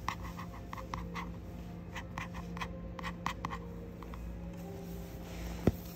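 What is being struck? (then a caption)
Hardcover book with laminated cover and paper pages. A fingertip and nail trace and scratch across the glossy laminated cover of a hardcover children's dictionary, "The Nick Dictionary," and then across its printed endpaper pages. Soft, brief scratchy strokes repeat over a steady low hum, ending in one sharper tap near the end.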